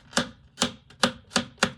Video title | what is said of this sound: Spiral of Life by Anna Miarczynska - Colouring Book Review | you just know it's it's a good thickness when you can hear that ping